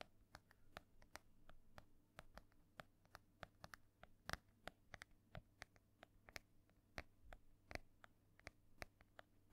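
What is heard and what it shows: Long painted nails tap and scratch the ornate embossed cover of a solid, medium-sized decorated hardcover book held upright near the mic. Quiet, sharp, dry clicks come in an irregular, brisk stream, each bright and gone almost instantly, with faint scratching between them. A steady low hum sits underneath.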